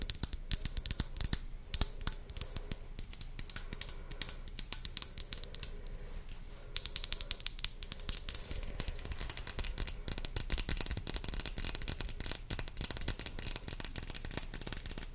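Long blue acrylic nails tap and scratch a small, hollow white plastic skincare pump bottle with a red cap held in the hand. The result is a dense run of quick, sharp plastic clicks and scratchy rasps with almost no ring, continuing for about 15 seconds.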